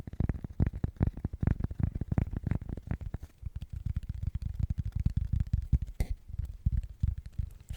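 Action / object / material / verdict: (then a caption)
tap / cork coaster / cork / none. Fingernails tap rapidly and steadily on a cork coaster. The result is a dense run of soft, dull, bassy taps with almost no ring, concentrated in the low frequencies.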